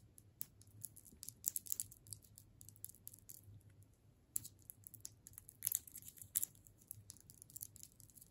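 A solid striped hard candy cane in a plastic wrapper is held in the hands while long nails tap along its length. Quick, bright clicks with crisp, crinkly plastic ticks rise over a faint low hum, with a few louder taps standing out.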